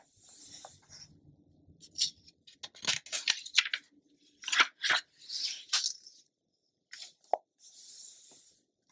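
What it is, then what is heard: Glossy paper magazine. An open glossy paper Essence magazine lies on a dark surface while a palm and long-nailed fingertips smooth its pages flat and lift them to turn. The result is a run of bright, crisp rustles, soft brushing swishes and short sharp ticks, with little low-end body.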